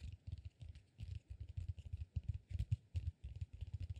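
A solid peanut-shaped cork massage ball is gripped and scratched with fingers and nails. The result is a quiet, rapid run of short, dull scratching bursts, deep and muffled, with only a faint bright rasp above them.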